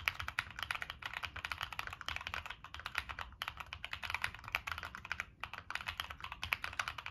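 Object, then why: Mechanical keyboard with plastic keycaps and metal case. Fingertips type steadily on a Monsgeek M1 mechanical keyboard with a dark metal case and purple and black plastic keycaps. The result is a fast stream of short, bright plastic clicks and clacks, with only a couple of brief pauses.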